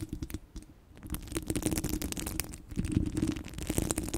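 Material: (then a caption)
Steel mesh. Long glossy blue coffin-shaped nails scratch and tap across a large, hollow, domed steel wire-mesh microphone head. The result is a dense, low, rumbling crackle, broken by quick bright ticks and taps that fade almost instantly. A brief quieter stretch falls near the start.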